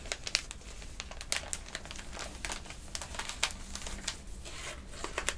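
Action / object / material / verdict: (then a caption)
scrape / paper glove packet / paper / none. A hollow, medium-sized white paper packet for gloves, partly open, is held in both hands and crinkled and rubbed with the fingertips while its flap is pulled open. The result is dense, crisp crinkling and rustling with sharp, bright snaps over a soft low rumble.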